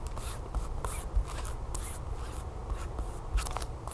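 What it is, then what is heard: Plastic package scratched with fingernails. Long fingernails scratch and rub the glossy back side of a flat, sealed plastic tablecover package with a barcode. Soft, papery scraping comes in short bright bursts over a low, steady rumble, with a few slightly louder strokes standing out.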